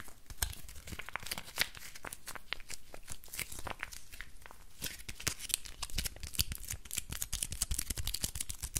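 A small, loosely crumpled ball of aluminium foil is held in both hands and squeezed and crinkled with fingertips and nails. It makes a dense, continuous run of sharp, bright crackles and crinkles over a low rumble, with no talking.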